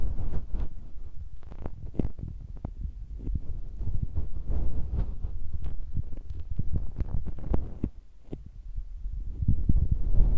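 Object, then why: Metal mesh microphone capsule grille. Bare fingertips tap and press directly on both sides of two small, hollow cylindrical metal microphone capsules with mesh grilles on a Tascam recorder. The result is a dense run of deep, muffled thumps and soft rubbing rumbles, almost all low-end around 66 Hz with no brightness. Each tap dies away almost instantly.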